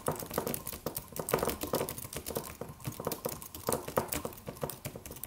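Fingertips of both hands tap the white plastic keys of a slim, solid, low-profile silver aluminum computer keyboard in a typing motion. The result is a steady stream of quick, short, dry clicks with a mid-pitched clack and little low rumble, each tap dying away almost instantly.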